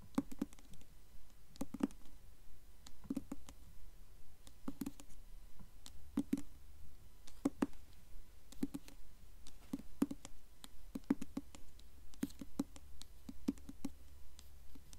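A blue hardcover book held upright is tapped quickly with long nails on its glossy, embossed paper dust jacket. The result is clusters of soft, dry, clicky taps that die away almost instantly, recurring in bursts over a steady low hum.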